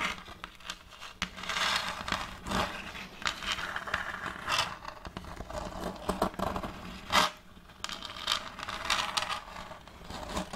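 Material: Wood.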